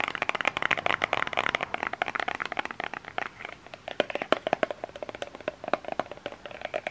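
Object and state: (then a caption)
Plastic lotion bottle. Fingernails tap and scratch a small cream plastic lotion bottle with an orange cap. Quick, dry plastic clicks with a hollow midrange tone come in rapid, uneven bursts, mixed with soft scratchy rasps. Each tap stops almost instantly, with no ring.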